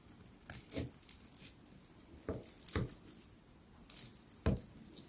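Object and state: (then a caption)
Crisp baklava pastry. A metal fork presses and cuts into a crisp, layered piece of rolled baklava, made of flaky phyllo with walnut filling and soaked in syrup, among several small pieces on a white ceramic plate. Several short, crackling crunches break out over quiet low rustling, each with a bright top and a brief thump underneath. The pastry crunches audibly as it gives way.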